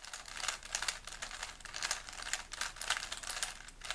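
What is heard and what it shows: A small solid plastic 3x3 Rubik's cube is held in both hands while fingertips rapidly twist its layers. The result is a quick, continuous stream of bright plastic clicks and rubbing with almost no low end, each click dying away almost instantly.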